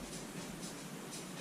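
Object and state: Nothing is struck.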